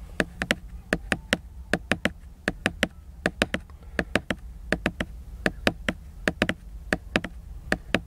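Several fingernails tap and scratch the glossy laminated cover of a solid hardcover book lying flat. About 31 sharp, dry clicks come in quick groups of two and three, each with a bright edge and almost no ring, over a faint low rumble.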